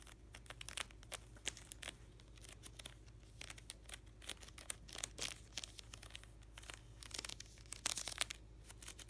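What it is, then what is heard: Vinyl binder with plastic sleeve pages. Fingertips and short nails scratch and riffle along the edges of the thick stack of plastic card-sleeve pages in a closed black vinyl hockey card ring binder, held upright on its edge on a towel. The result is a quiet, bright, crinkly rustle broken by many quick, crisp ticks and clicks that stop dead with no ring.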